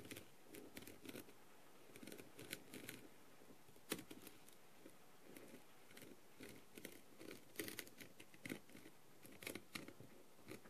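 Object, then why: Plastic rhinestone-covered mask. A clear plastic-tipped tool taps and scratches across the rhinestones of a blue plastic rhinestone-covered masquerade mask. The result is a quiet, irregular series of short, bright clicks and scratchy ticks that die away almost instantly, with faint gaps in between.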